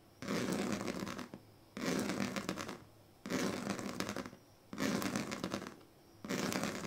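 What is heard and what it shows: The pointed tail of a pink plastic comb scratches across the strips of a large, flat woven plastic sleeping mat in five steady strokes. Each stroke is a dry, rasping scrape about a second long with a bright, crackly texture. Short quiet pauses separate the strokes.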